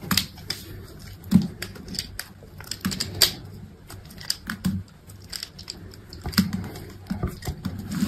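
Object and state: Dry soap bar being carved.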